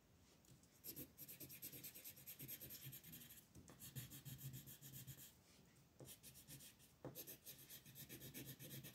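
A yellow wooden colored pencil held in the fingers rubs and scratches across a thin printed paper mandala page from a coloring book, lying flat on a table, while shading; the other hand, with long painted nails, rests on the sheet. Soft, steady scratchy strokes with a bright, papery hiss come in bursts, with brief quieter pauses between shading passes.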